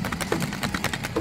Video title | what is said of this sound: Transforming Old Civic with $100 Rustoleum Spray Can Matte Red | when you shake it you can hear it that's in there